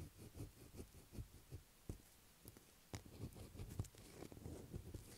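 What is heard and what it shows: Long black acrylic nails scratch and tap a light blue solid bar of soap lying on a table. The result is a quiet series of soft, dull, low thumps mixed with faint dry scratching and brushing, with occasional brighter clicks.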